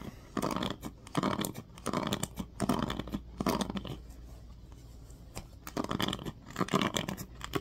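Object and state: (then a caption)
Plastic paddle hairbrush, scratched. Fingertips scratch the teal-tipped pins of a black plastic oval paddle hairbrush and rub its smooth plastic back. Dense, crackly scratching comes in short bursts, with a quieter stretch in the middle before the scratching picks up again.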